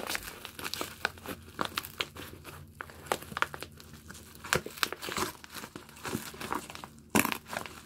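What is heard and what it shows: A medium yellow padded envelope made of kraft paper with bubble lining, with a parcel still inside, is crumpled, crinkled and torn open at the flap by fingers in yellow rubber gloves. Dense, dry crackling comes in quick bursts with sharp bright snaps, some louder tearing rips and a faint low hum underneath.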